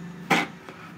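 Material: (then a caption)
Metal. A metal towel holder in a camper bathroom is tapped once, giving a short, bright metallic knock that fades quickly, followed by a faint softer tick. The holder turns out to be metal rather than plastic.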